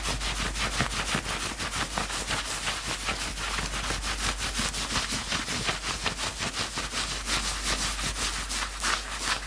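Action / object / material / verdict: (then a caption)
scrape / knit fabric sweatshirt / knit fabric / none. Fingertips rapidly scratch and bunch the grey knit fabric at the belly of a worn sweatshirt, producing fast, continuous scratchy rustling of roughly 167 strokes per minute. The sound is bright and hissy, holds a steady level throughout, and sits over a constant low hum.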